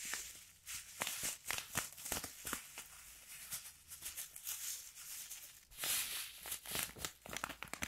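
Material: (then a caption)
Plastic, sand. A small clear plastic zip-lock bag partly filled with pale sand grains is held in both hands with the fingertips, then crinkled, squeezed and shaken so the grains shift inside. Bright, crisp plastic crinkles and gritty sand rustles come in quick, uneven bursts, with a louder flurry near the end.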